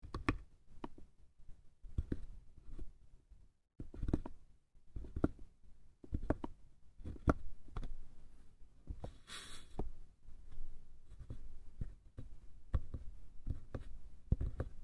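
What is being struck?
Small light-wood box.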